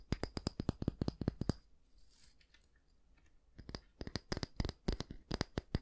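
Fingernails tap and scratch the solid wooden back of a small oval wooden bristle hair brush, then move to the bristles. Quick, dry clicking taps with a low thud open the clip, give way to a quiet, soft scratching rustle, and then return as another run of crisp taps with a bright edge.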